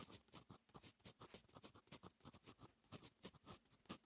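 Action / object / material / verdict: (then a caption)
scrape / metal fountain pen nib on lined paper notebook page / paper / none. A fine metal fountain pen nib writes Korean text on a lined paper notebook page. It makes a quiet, rapid series of short, dry, bright scratching strokes that stop abruptly, with brief pauses between them.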